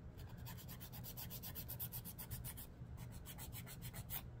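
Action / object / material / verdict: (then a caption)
scrape / emery board nail file and fingernail / emery board / none. A long, dark emery board nail file is held in one hand while fingernails are filed against it with quick strokes. The result is a steady run of soft, bright, scratchy rasps over a low, quiet hum.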